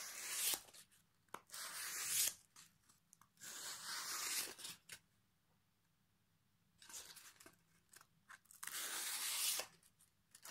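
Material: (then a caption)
Pine wood. A piece of sandpaper held in the fingers is rubbed across the face of a solid pine plank with a dark knot, held at an angle. It makes bursts of dry, bright, raspy scraping with almost no low end, separated by short quiet pauses between strokes.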